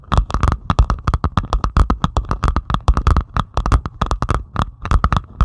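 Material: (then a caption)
Plastic resin. A flat, solid diamond painting canvas with a Stitch design lies on a table, covered in small faceted plastic resin drills, and is scratched and tapped by long pointed acrylic nails on both hands. Dense, rapid clicks and taps follow each other in quick succession, each short and dry with a faint bright tick. Low scraping runs beneath them throughout.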